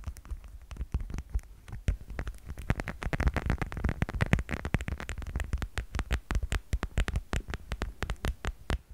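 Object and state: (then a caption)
Plastic cat figurine. Rapid, continuous tapping on a plastic cat figurine produces short, dull, low-pitched knocks with crisp clicky edges. The taps come in quick, uneven runs, growing denser and slightly louder in the middle before easing off, and each dies away almost instantly.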